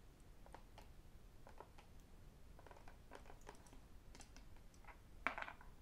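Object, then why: Plastic sports squeeze bottle tapped with fingertips and rings. Fingertips and rings tap on the body of a white and black plastic sports squeeze bottle with a cap, hollow and apparently empty, held in the hands. Light, quick, hollow clicking taps come in an irregular pattern over a low steady background hum, and a sharper, brighter click near the end stands out as the loudest.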